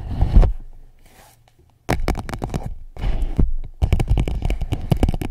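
An empty clear PVC pouch held around a microphone is tapped and scratched with long nails. Heavy, muffled low thumps and crinkly scratching are heard in bursts, with bright, sharp nail clicks over a deep boomy body. A brief near-silent pause falls early on before the tapping resumes.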